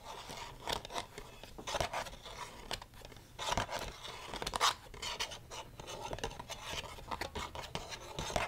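Long red nails scratch and tap the inner plastic of an open black plastic DVD case with the disc still inside. The result is a quiet, dry, bright scratching and crackling broken by irregular sharp little clicks, each dying away almost at once.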